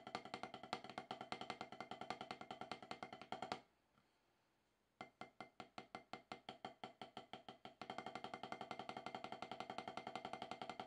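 Two wooden drumsticks tap rudiments on a solid octagonal HQ rubber drum practice pad with a dark surface, making about 85 short, dry, woody clicks centered near 750 Hz. Rapid, even strokes stop briefly around the middle for a near-silent pause. They resume as spaced accented taps, then return to a dense, steady roll until the end.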